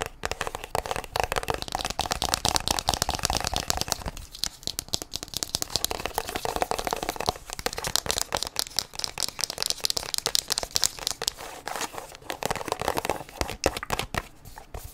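A small white plastic sunscreen tube with a blue cap is held in both hands and scratched and tapped with long nails. The result is a steady stream of rapid, dry, crinkly clicks and scrapes with bright highs and no ringing, easing briefly around four and twelve seconds before picking back up.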